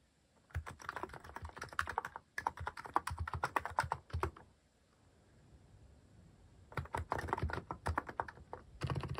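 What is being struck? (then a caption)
Plastic mechanical keyboard. Fingertips type on a mechanical keyboard with a white plastic case and cat-shaped plastic keycaps, producing rapid, dense clacking keystrokes with a deep low thock and a mid-range click around 1 kHz. Typing runs steadily for about four seconds, pauses in near silence, then resumes in quick bursts until the end.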